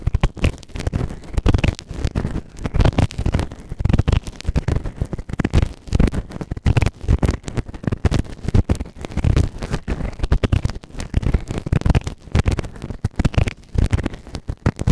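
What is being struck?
Silicone ear-shaped microphone scraped with a plastic ear tool.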